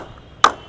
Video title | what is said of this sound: Most Expensive Cricket Bats – SS, SG, Gray Nicolls & DSC Ping Test & Review | Ping outstanding ball के साथ भी हम चेक कर लेते हैं। इसमें भी सेम है। There is no वाइबेशंस at all